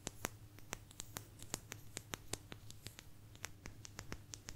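Long nails scratch along the edge of a small, thin, solid blue agate slice and tap on it. The result is a quiet, rapid series of sharp, bright clicks with almost no ring, set against a faint, steady low hum.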